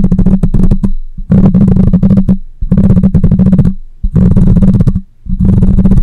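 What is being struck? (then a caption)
Metal mesh microphone grille. Long nails scratch across the metal mesh grille of a black microphone in five rough bursts separated by brief pauses. Each stroke is a dense, gritty rasp dominated by a heavy low rumble and a steady low hum, with faint bright edges.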